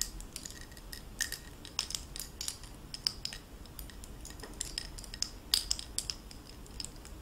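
Fingertips and long nails jiggle the linked, metal-framed blue faceted stones of a gold-tone metal necklace. The result is a steady stream of quiet, bright clinks and tinkles with very short ringing, some taps standing out louder than others.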